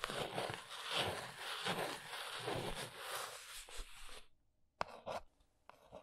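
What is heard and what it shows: Long nails trace and tap across the top and folded end flaps of a small brown cardboard box. A continuous broadband scratchy rasp runs for about four seconds, then stops. It is followed by a few sharp, dry taps with short scratches between them.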